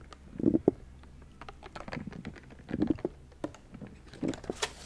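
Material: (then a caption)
Paper. Fingernails scratch and flick the pleated white paper edges of a small folding book lamp with its pages fanned open. Soft papery scratching comes in short bursts, with crisp, dry ticks and flicks that stop instantly. The three fuller rustles arrive about every one and a half to two seconds, while bright little clicks fall irregularly in between.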